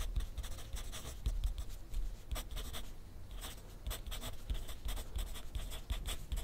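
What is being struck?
Pencil tip on a paper sheet on a clipboard.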